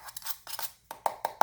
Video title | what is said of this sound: Product testing disk enclosure and ssd | You can hear that metal thing. I'm shaking it. I don't feel or hear any movement with the disc inside.